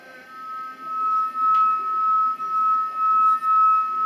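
A wet finger slides around the rim of a crystal drinking glass, drawing out a sustained, pure ringing tone near 1.3 kHz. The tone swells and dips in a steady pulse as the finger circles, and the singing confirms real crystal.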